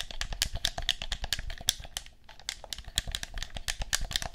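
Buttons and triggers on a black plastic handheld game controller with a hollow shell are pressed and clicked with the fingers. The result is a rapid, uneven run of short, bright plastic clicks with a dull low knock beneath them, each dying away almost at once. The clicking pauses briefly around the middle before picking up again.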